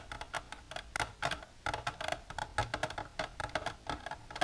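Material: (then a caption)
Plastic. Long natural nails with silver polish tap continuously on a plastic container for ASMR. The result is a quick, irregular run of sharp, hollow clicks with a mid-pitched body around 680 Hz and bright edges. Each tap dies away almost at once, with a faint low rumble underneath.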